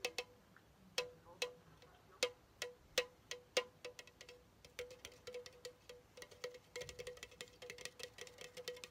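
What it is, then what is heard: Aluminum soda can. A pink Chupa Chups soda can of hollow aluminum is held low and tapped with fingertips and nails. Quiet, sharp, bright clicks each carry a short metallic ring near 500 Hz. The taps start spaced apart, then speed up into a dense, uneven patter.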